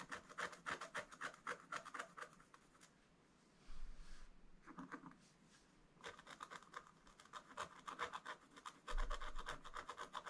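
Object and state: Scratch-art paper scraped with a wooden stylus.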